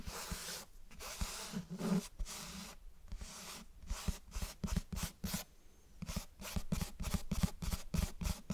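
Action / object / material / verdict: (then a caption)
tap / cloth-covered hardcover book / cloth, board / none. Fingertips and nails tap and scratch the cover and spine of a closed, solid, medium grey-beige cloth-covered hardcover book held up close to binaural mics. Soft, dull low thuds alternate with dry, bright scratching rasps in an irregular, fairly quick rhythm, each sound dying away almost instantly.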